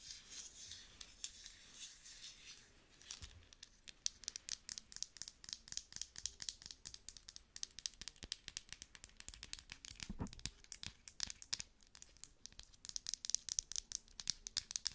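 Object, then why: Small thick-walled glass cosmetic jar. Long nails tap and scratch the base and sides of a small, thick-walled cosmetic cream jar that looks like glass and is full of cream. A soft, bright scratching hiss in the first few seconds gives way to a rapid, uneven stream of crisp, dry clicks with almost no ring and little low end.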